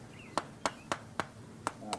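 Six sharp, short knocks on a horse's cracked, abscessed hoof, each with a brief bright ring around 1 kHz. The knocks sound hollow because the hoof wall has separated where the abscess tracked up and broke out through the top.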